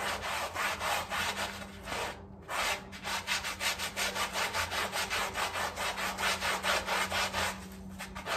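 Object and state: Woven rug being scrubbed with a brush.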